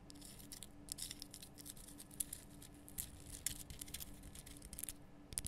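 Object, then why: Rock salt block lamp. Long nails scratch and tap a large, rough, glowing pink Himalayan rock salt lamp, a solid salt block cupped in both hands. Quiet, dry, bright scratches alternate with sharp clicking taps that stop almost instantly, over a faint steady low hum.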